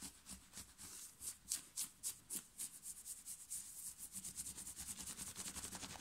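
Long fingernails scratch and rub fast across a plain black round-neck cotton knit t-shirt worn on the chest. The sound is a rapid, uneven series of dry, bright scratching strokes over a soft fabric hiss.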